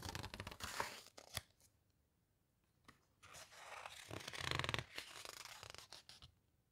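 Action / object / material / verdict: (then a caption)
scrape / hardcover book with glossy paper pages / glossy paper / none. Hands with long nails squeeze and turn the glossy paper pages of an open hardcover guitar book. Quiet, bright crinkling and rustling come in bursts, with sharp snaps as pages flip. A near-silent pause falls in the middle before the squeezing builds again into a longer, denser crackle.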